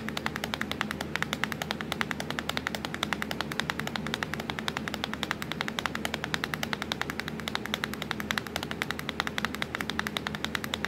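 Long acrylic nails tap fast on the black plastic keys of a laptop keyboard, near the Windows key. Rapid, steady clicks run through the whole clip, each short and bright, over a faint low hum.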